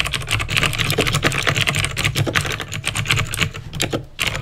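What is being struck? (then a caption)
Plastic mechanical keyboard. Fingertips type steadily on a backlit plastic mechanical keyboard with clicky green switches. The rapid keystrokes run together as a continuous stream of bright, sharp clicks over a low, hollow thock, and each one dies away almost at once.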